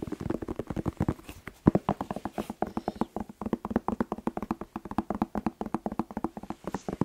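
A whole, hollow red bell pepper with a green stem is held in one hand and tapped rapidly with the fingertips of the other. The result is a fast, steady stream of dry, hollow taps, each dying away almost at once, with a low, drum-like body around 190 Hz.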